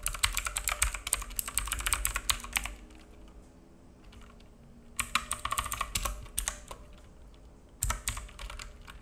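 Fingertips of both hands type on a black full-size mechanical keyboard with plastic keycaps and a hollow case, resting on a wooden desk. Rapid bursts of bright, clacky key taps with a low hollow thump come in three runs, separated by quiet pauses with only faint scattered clicks.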